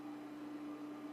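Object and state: Nothing is struck.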